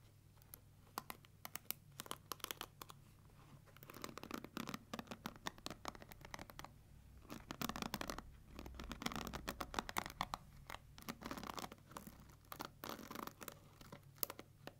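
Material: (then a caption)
Plastic. Long nails scratch and run along the plastic bristles of a pink plastic paddle hair brush with a black rubber pad. The result is a quiet, dense stream of crisp, bright ticking and scratchy crackles with sharp clicks, in flurries that rise and fall over a faint steady low hum.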